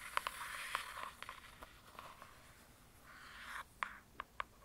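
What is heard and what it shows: Breathy scratching swishes in the upper mids, broken by short crisp clicks around 1 kHz that die at once. Fingernails are dragging and tapping on a laminated book cover, whose smooth stiff surface gives a dry, close sound in a small quiet room.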